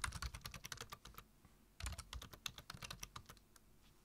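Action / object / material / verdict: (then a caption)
tap / plastic computer keyboard / plastic / none. Both hands type rapidly with their fingertips on a black plastic computer keyboard, tapping out about twenty quick keystrokes in two bursts separated by a brief pause. Each tap is a short, dry click with a bright top and a soft low thump, dying away almost instantly.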